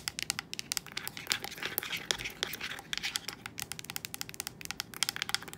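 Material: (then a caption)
Plastic. Long acrylic nails tap and click on the rubber buttons and hollow hard plastic casing of a handheld hospital bed TV remote and pillow speaker lying on a bed sheet. The result is a rapid, irregular stream of sharp, bright clicks and light crinkly scratches with almost no low end and no ring, each tap ending instantly.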